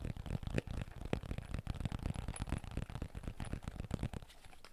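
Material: Fabric over hard shell.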